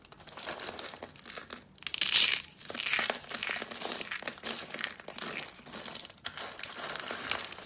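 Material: Soap.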